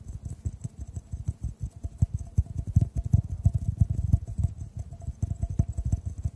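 Fingertips tap a clear, hollow, empty glass tube just above the microphones in a rapid, irregular patter. Each tap is a soft, dull, low thump with almost no ring, over a faint high shimmer.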